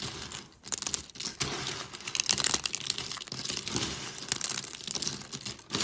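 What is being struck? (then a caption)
Crushed soap flakes. A pile of thin pastel dry soap shards on a white surface is snapped and crushed by fingers with long pink nails. Dense, dry crunching and crinkling with sharp crackles runs almost continuously, bright and high with little low end. There are brief pauses near the start and end.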